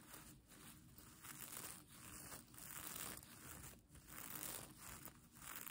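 Fingertips and nails scratch and brush the plastic sequins of a sequin-covered fabric mermaid tail blanket held up in the air. The result is a soft, steady crinkling rustle with a bright, hissy top, rising and falling in gentle swells as the strokes repeat.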